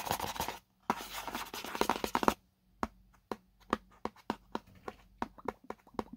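Fingernails scratch across the printed white spec label on the side of a small, hollow paperboard product box held in both hands. Two dense, bright scratching bursts, separated by a brief pause, give way to a run of short, crisp scratches and taps with quiet gaps between them.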